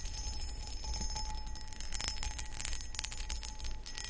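Long acrylic nails scratch and tap the textured sides of a medium, hollow, empty cut crystal footed pedestal bowl, producing rapid bright clicks and scratchy high ticks with brief glassy pings. A steady low rumble runs underneath.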